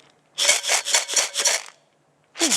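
A small metal can holding grains is shaken, and the grains hitting the can's walls make a bright, hissy rattle. A quick run of shakes is followed by a short pause and one more burst.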